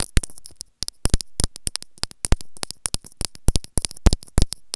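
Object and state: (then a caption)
Plastic earphone inline microphone. Long grey nails scratch along a small white plastic earphone inline microphone held in the fingers. A dense run of sharp, dry scratching clicks with bright edges and a low, thumpy body fills the clip, with brief quiet gaps between bursts.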